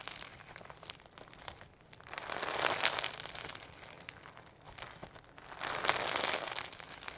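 Firm slime packed with hologram sequins is squeezed, pulled into a long strand and folded by hand, giving a dense, bright crinkling and crackling texture. The sound swells in two broad waves of louder crunchy squishing, with quieter clicking and popping between them.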